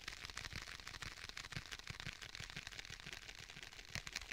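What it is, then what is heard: Faux leather tablet case. A rigid black stitched faux leather tablet case, held in both hands, is tapped quickly with the fingertips on its front. The result is a dense, uneven run of short, dry, bright taps, each with a soft low thump underneath and almost no ring.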